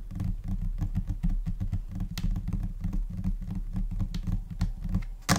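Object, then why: Laminate desk surface. Long nails and finger pads tap in scattered, uneven rhythms on a flat, solid white laminate desk surface. The taps are short, dull and mostly low, with little ring, and a few sharper, brighter clicks stand out.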